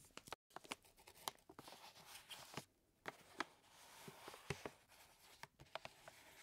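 Fingertips and nails scratch and tap a full white paper flour bag, and the paper is pressed and crinkled. Quiet, dry, bright paper crackles and rustling are broken by irregular sharp taps that die away almost at once. There is a brief silent gap near the start.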